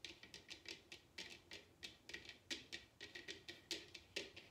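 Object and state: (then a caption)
Bamboo bowl. Long red nails tap and scratch the outer bottom of a large, hollow bamboo bowl turned upside down. The result is a quick, irregular run of light, dry clicks. Each click is bright and woody with a faint hollow tone, and it dies away almost at once.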